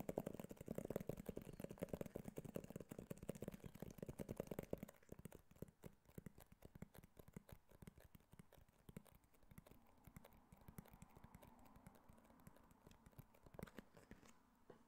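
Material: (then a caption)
Cardboard. Fingernails tap rapidly on the glossy surface of a small, handheld white cardboard iPhone box in a typing-like pattern. The clicks are dry and close together, with no ring after each tap. They are louder and denser for the first five seconds, then continue more softly.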